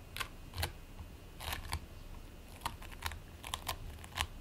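Fingertips with short nails press, scratch and squish a flat patty of purple and white play foam (polystyrene bead foam) resting on a white plate. Quiet, dry crackles and sharp little clicks sound in brief bursts, bright and crisp on top over a soft low rumble. Each burst snaps off almost at once.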